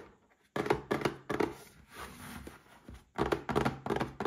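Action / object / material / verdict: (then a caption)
tap / small cardboard box / cardboard / none. Fingertips and short nails tap a small red cardboard gift box holding a Paladone Mario Kart glass. The result is quick bursts of dull, hollow thunks with a papery rattle, separated by a softer stretch of scratchy rustling in the middle.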